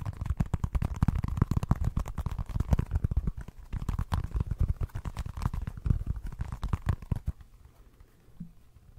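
Fingernails rapidly scratch and tap the ridges of a small orange textured rubber football stress ball. The result is a fast, dense stream of short, dull low thumps and scratchy rasps for about seven seconds. It then stops, leaving near silence with one faint soft tap.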